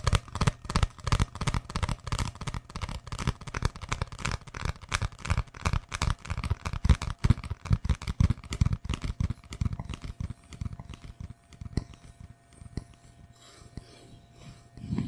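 An empty, hollow brown cardboard tube about 20 cm long is held in one hand and tapped and scratched with long fingernails right next to the microphone. Fast, dense, hollow, low thumping taps dominate the first ten seconds. After that they thin out into quieter, sparser scratching, with a few sharper taps near the end.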